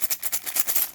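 A Moneybags board game box is shaken, and the metal gold coins inside rattle in about nine quick, bright bursts. The sound is a dry, high-pitched jingle with no low end.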